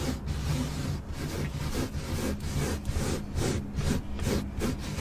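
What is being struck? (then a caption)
Carpeted car floor mat. Long acrylic nails scratch and rub the fibres of a black carpeted car floor mat with both hands, on a flat, solid surface. The result is a continuous, low, scratchy rubbing texture that swells and fades in loose, roughly repeating strokes.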